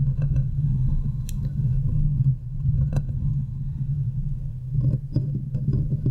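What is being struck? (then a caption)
Metal mesh microphone grille. Long nails scratch and tap the hollow metal mesh head of a silver condenser microphone, making a dense, low rumbling scrape with a steady low hum and scattered sharp, bright ticks. Toward the end the hands partly pull away, and the taps become more spaced and clicky.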